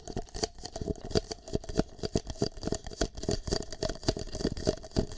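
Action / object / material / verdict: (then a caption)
tap / plastic cup / plastic / none. A single empty green plastic cup is held over a microphone ear while fingertips and nails tap and scratch its surface. The result is a rapid, uneven run of short, dull, hollow taps with a low thump under each, mixed with faint scratchy rustling.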